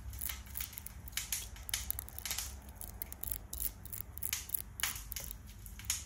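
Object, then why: Glass perfume bottle with metal trim. A hand-sized dark red and black glass perfume bottle with an ornate gold metal floral decoration and cap is held in one hand and tapped quickly with the long fingernails of the other. Rapid, sharp, bright clicks follow one another in an uneven flurry, each dying almost instantly, over a steady low hum.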